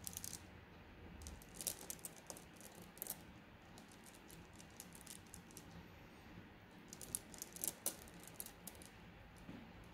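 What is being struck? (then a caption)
Glass gems in a plastic mesh bag. A flat-lying plastic mesh bag of blue glass gems is scratched and tapped with long nails. Quiet, bright clicks and rattles of glass shifting against glass come in scattered bursts over a soft low hum. The clusters of sharp ticks are loudest near the start and again toward the end.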